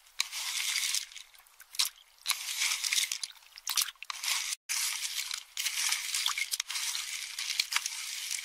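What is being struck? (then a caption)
Pistachio shells in a metal bowl. A spoon crushes and stirs empty pistachio shells in a small metal bowl for about eight seconds, producing dense, bright, dry crunching and crackling with occasional sharp clinks against the bowl. The sound is almost entirely high-pitched with no low end, and it comes in bursts broken by short pauses, including a brief moment of silence midway.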